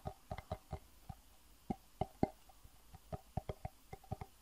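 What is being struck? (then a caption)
Small clear plastic box. Fingertips tap on a small, hollow, empty clear plastic box in a quick, uneven series of separate taps. Each tap is a short, soft, hollow knock with a low body near 230 Hz that dies away almost at once. The taps stay quiet and dull, with very little bright edge.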